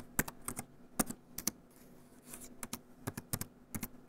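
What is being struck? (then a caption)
Plastic laptop keyboard. Fingertips tap and rub over the keys and touchpad of the grey plastic keyboard base of a small EXO 2-in-1 laptop resting on its sleeve. Quick, dry plastic clicks with a low body thud come in uneven bursts, and a soft brushing hiss fills the quieter middle stretch.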